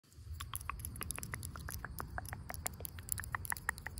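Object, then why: Tree trunk bark. Long pink acrylic nails tap and scratch the rough, lichen-covered bark of a large, solid, living tree trunk. Quick, dry, bright clicks and scratchy ticks patter irregularly over a steady low background rumble, each tap dying away almost instantly.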